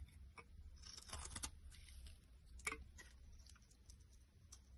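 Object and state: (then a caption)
Bar soap being carved. A box cutter blade carves flakes off a solid white vegetable bar soap held in the hand. Quiet, dry scraping and crisp ticking cuts sound with bright edges over a low background rumble. A denser burst of shaving comes early and a sharp snap follows midway.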